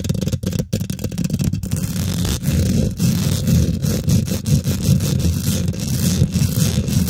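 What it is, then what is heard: Metal mesh microphone grille being scratched and tapped. Long nails and fingertips on both hands quickly scratch and tap the domed, hollow woven metal mesh grille of a large silver condenser microphone. The result is a dense, continuous scraping rustle with a heavy, boomy low-end rumble and rapid, dull taps mixed in. The loudness stays fairly steady throughout, with only brief dips.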